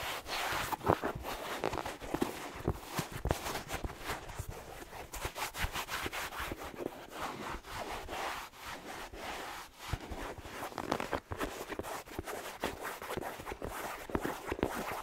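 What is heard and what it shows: A single hollow, empty black suede-like slipper with red plaid trim and a rubber sole is held in one hand while fingertips and nails rub and scratch its sole and upper. The result is a dense, continuous stream of soft, broadband scratching and rubbing, with many small quick accents and no ringing.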